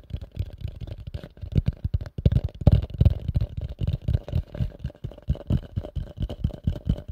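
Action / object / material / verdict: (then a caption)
tap / upturned plastic bowl / plastic / none. A pale yellow, medium-size, hollow and empty plastic bowl held upside down is tapped and scratched rapidly with nails and fingertips. The result is a dense run of quick, dry, muffled thumps that are deep and low-pitched, with scratchy contact noise between them and almost no ring.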